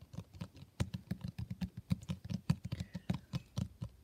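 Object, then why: Cloth-covered hardcover book. Fingertips of both hands rapidly tap the cover of a solid, blue textured cloth hardcover book. About two dozen soft, dull, low thuds follow one another in quick, uneven succession, each dying away almost instantly with no ring.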